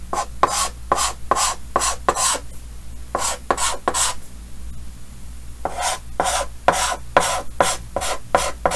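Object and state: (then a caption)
Chalk drawn on a chalkboard. Yellow chalk held in the fingers scratches hatching lines across a large, solid, flat painted chalkboard with a green frame while drawing a Pikachu. About 17 quick, bright, rasping strokes come in three bursts separated by short pauses. A faint steady low hum runs underneath.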